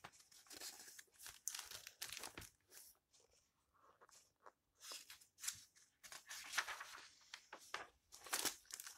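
Fingertips with long red nails rub the yellowed pages of an open old paper book flat and flip them. Quiet, dry, bright paper rustles and crinkles come in short bursts separated by brief pauses, with almost no low end.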